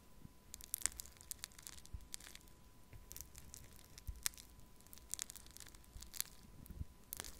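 A thin wooden stick pokes and scratches into pink pearl clay made of tiny foam beads, packed in a small clear plastic cup held in one hand. It makes quiet, irregular bright crackles and crunchy squeaks, each one very short and dry, over a faint low rumble and a thin steady tone.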